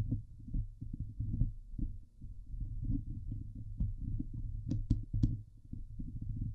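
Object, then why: Steel wire-mesh microphone grille. Fingertips and long painted nails scratch and rub across the hollow steel wire-mesh grille of a Blue Yeti microphone head. The sound is a dense, muffled, low rumble of thumps and rubbing, with a few sharper, brighter scratches standing out near the end.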